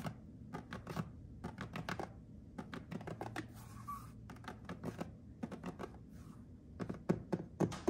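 Fingertips and nails tap and scratch across a white glazed ceramic subway tile backsplash with grout lines, a solid wall surface. Clusters of quick, dull taps come in irregular bursts, with a brief soft scratch in the middle. Each tap dies away almost instantly, leaving a low, muted clatter with little brightness.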